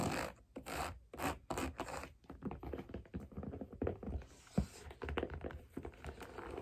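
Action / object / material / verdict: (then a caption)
tap / wooden figure skate sole and heel / wood / none. Long black nails tap and scratch the solid wooden sole and heel of a figure skate lying on its side with a blade guard fitted. Quick, dull wooden taps mix with rough scraping and rubbing. Each tap dies away almost at once, with a strong low thud and little high sparkle.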